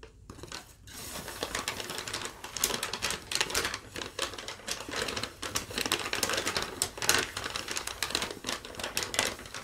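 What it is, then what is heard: Thin paper sheet being tapped and crinkled. A thin yellow lined legal-pad sheet that has been rolled and flattened is tapped, scratched and crinkled by long nails. It makes a dense run of quick, dry, bright crackles and ticks with little low end. The taps come close together, with short bursts of louder crinkling throughout.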